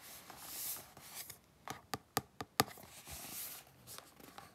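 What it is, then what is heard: Cardboard box scratched with fingernails. Long glittery pink nails and fingertips scratch and rub across the flat printed surface of a small, hollow, closed cardboard retail box of mango mochi, held in both hands over a green mat. Soft, airy scraping swells come and go, broken in the middle by several sharp, dry nail clicks that die away almost instantly, with a bright, papery hiss throughout.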